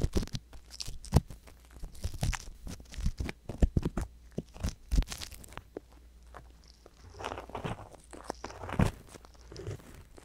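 An ear pick scratches inside the canal of the right silicone ear on a binaural microphone. Many dense, close-up scratching and crunching sounds follow one another in clusters. The scratching is mostly low and muffled, with brief brighter scrapes and a softer, hissier stretch near the end.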